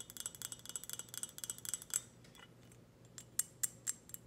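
Long red fingernails tap a hollow, empty-looking glossy black ceramic teapot with a lid, on its body and lid. A rapid run of light, bright clicking taps with almost no ring fills the first two seconds, then after a short pause a few sharper, crisper taps follow, all quiet and high-pitched.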